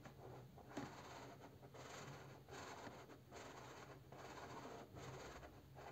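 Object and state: Crayon scribbling on a printed cardboard box.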